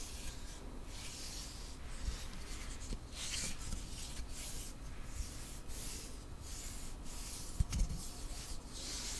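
Fingertips and nails rub and scratch along the surface of a long, flat, solid light-wood ruler with printed markings, held in one hand. Steady, rhythmic strokes make a soft, dry, bright scratching hiss over a quiet low rumble, with one small knock near the end.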